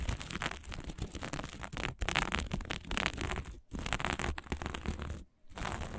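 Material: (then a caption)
Plastic sequins. Flat fabric covered in plastic sequins is scratched with long nails and rubbed with the flat hand, giving a dense, crackly scratching and rustling sound. The texture is broadband with a heavy low rumble and bright clicky grit on top, broken by a few brief silent pauses.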